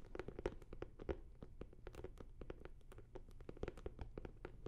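Long nails and fingertips tap and scratch a closed, hollow blue starry hard-shell zippered fabric case held beside the microphone. Rapid dry clicks and scratchy taps come with a soft, low, hollow body tone around 355 Hz. Each hit dies almost instantly, and the whole clip stays quiet.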